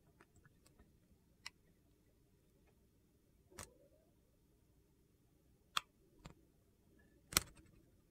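A metal box-cutter blade slices thin sheets from the edge of a solid, translucent purple glycerin soap bar. Brief, crisp, bright clicking cuts sound at irregular intervals over a quiet, low background hiss, each ending almost instantly.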